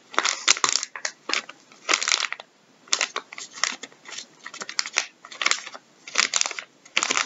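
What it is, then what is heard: Plastic wet wipes packet, full. Gloved fingertips scratch and crinkle the surface of a full, soft plastic packet of wet wipes resting on a wooden table. Bursts of bright, crisp crackling and rustling come in quick clusters separated by short silent pauses, with almost no low end.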